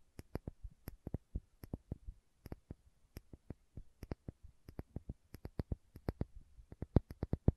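Long manicured nails tap and scratch the red plastic screw cap and paper label of a small, apparently filled glass spice or condiment bottle. About 35 quiet, dry, sharp clicks come at an uneven pace, each with a low, dull body and almost no ring, alongside faint scratching.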